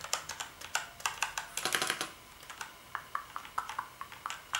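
Fingertips type on the keys of a black plastic gaming keyboard with backlit keys. Sharp, bright plastic clicks come in an irregular rhythm, with a quick flurry of keystrokes near the middle. Each click dies away almost at once, with almost no low end.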